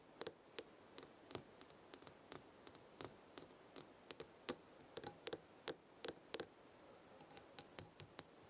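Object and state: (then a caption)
Metal jar lid tapped with nails. Long red acrylic nails tap the top of a gold metal screw lid on a small glass jar full of dried herbs. There are 27 sharp, bright, dry clicks in an irregular rhythm, each stopping almost instantly with no ring, over a quiet background.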